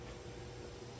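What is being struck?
Nothing is struck.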